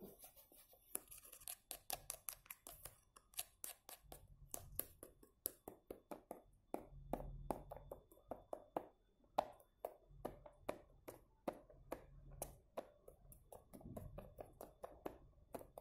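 A fingernail taps and scratches the blue printed foil lid of a small, full, sealed plastic yogurt cup held lid-up in the hand. Many quick, dry, crisp taps with almost no ring come in a steady run. Soft scratching is heard between them over a faint low hum.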